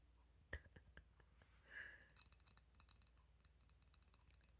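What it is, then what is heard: Ceramic coaster. A ceramic coaster with a cat design is tapped, giving a sharp glassy clink at about half a second followed by lighter taps. A brief hiss rises near two seconds, then a run of faint, quick clicks and ticks continues to the end over a low hum.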